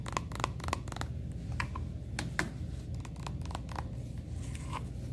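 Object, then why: Soft plastic squeeze tube. Long painted nails and fingertips tap and scratch a medium-sized, soft plastic, red and gold Redken cosmetic tube that appears full, lying on a beige display tray, while the hand slides along it. Light, sharp clicking taps are heard over soft scratching and brushing, with a steady low rumble underneath.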